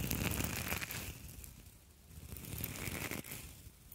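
Two identical palm-sized, hollow and springy copper wire mesh scouring pads, one held in each hand, are squeezed and crinkled with fingertips and long acrylic nails close to the microphone. A dense, crackly crinkling with bright metallic rustle fills the clip, easing off around the middle before swelling again.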